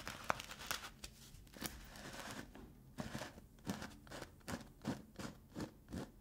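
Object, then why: Plastic cosmetic tub lid. Fingertips and nails scratch and tap around the rim of a black plastic lid on a black plastic Lush cosmetic tub held in both hands. Soft, dry scratching and crinkly scraping give way to a run of short, clicky taps with bright, crisp tops and a faint hollow plastic knock beneath, each dying away almost instantly.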